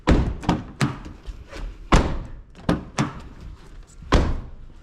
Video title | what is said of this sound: 이 영상처럼만 확인하고 차량 구매하면 후회안합니다! - 중고차 구매대행 | 둔탁한 소리가 나야 되잖아요 텅충 된 소리가 나면 안 됩니다